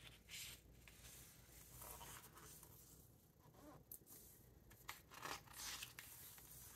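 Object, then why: Hardcover book with glossy paper pages. Fingertips turn the glossy paper pages of a large hardcover Victoriana book lying open on a wooden table and rub across them. Bright, papery swishes and crinkly rustles rise and fall in irregular bursts over a faint, steady low hum.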